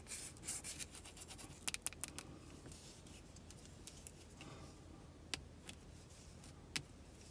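Long decorated acrylic nails tap and scratch the smooth surface and edges of an unwrapped, palm-sized solid white bar of soap with an embossed logo, held in both hands. Soft, bright scratching and rubbing runs throughout at a low level, broken by sharp, dry taps that die away almost instantly.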